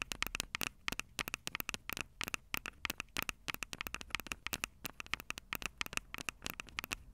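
Long purple acrylic nails rapidly tap and scratch the two metal-grilled microphone capsules of a Tascam DR-05 handheld recorder with a plastic body. Dozens of sharp, bright clicks come in quick, uneven bursts, each dying away almost instantly, with a tone centered around 2.5 kHz. Faint scratchy crackle fills the gaps between them.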